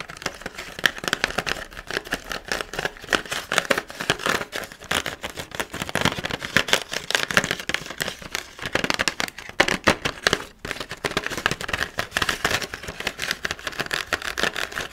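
Fingernails tap and scratch on the hollow clear plastic blister of a pumpkin carving kit mounted on an orange cardboard card. A dense, nearly continuous stream of sharp, bright clicks and crinkly scraping runs throughout, with almost no low end. There is one brief lull around the ten-second mark.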